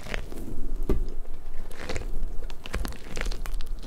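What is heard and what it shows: Long nails pull at the strands of a large, hollow pink rubber puffer ball, then fingertips squeeze and rub its spiky surface. The result is a steady run of soft, crackly rubbery ticks and brief squeaks over a low, muffled rumble, with no lingering ring.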